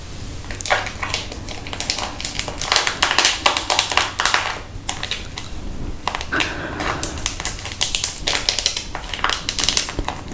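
A small, hollow, round, palm-sized orange plastic case with a printed label is tapped and scratched with long acrylic nails close to the microphone. Quick, crisp, hollow clicks in uneven bursts mix with bright, scratchy brushing, over a faint, steady low hum.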